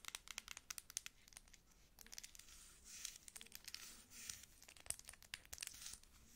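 A dark plastic cosmetic bottle with a label and pump dispenser is held in both hands and tapped and scratched on its label and body with long acrylic nails. Quick, bright clicking taps come in clusters, mixed with soft, hissy scratching and crinkling swells, all very high in pitch with almost no low end.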